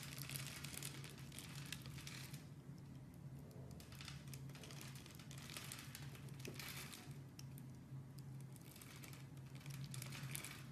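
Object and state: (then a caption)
Bar soap being carved. A utility knife blade scrapes and carves thin flakes off a solid oval orange bar of soap with a grid-scored surface, held in the hand. Dry, crinkly scraping comes in bright, hissy bursts over a steady low hum, at a quiet, even level throughout.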